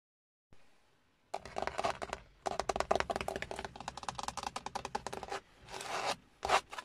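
Fingertips with short nails tap and scratch the large, hollow, textured dark grey plastic airbag cover at the centre of a Hyundai steering wheel, next to its chrome logo. After a faint start, bursts of rapid, dry clicking taps and scratchy rubs come in quick runs separated by brief pauses, ending with a few louder strokes. Faint rain may be heard outside the car.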